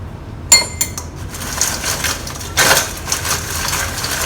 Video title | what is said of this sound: Super Crispy Fried Chicken Recipe 盐酥鸡 BEST Chinese Popcorn Chicken Ever! Taiwanese Style 超大鸡排-迷你版 | Listen to how crispy it is.